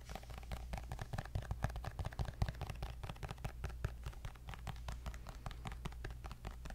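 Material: Glass.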